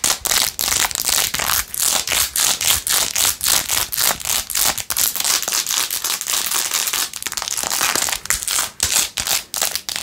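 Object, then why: Rhinestone-covered plastic phone case. Long nails scratch fast across the back and edges of a blue-jeweled, rhinestone-covered plastic phone case. The result is a dense run of bright, crinkly scraping strokes with almost no low end, each burst cut off by a short gap.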